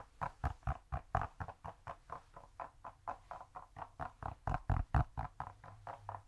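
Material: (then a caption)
Cork. A cork cube is tapped or scratched in a rapid, somewhat uneven series of about 29 short, dull taps, roughly two per second. Each tap is soft and muffled, mostly low-frequency, and dies away almost at once.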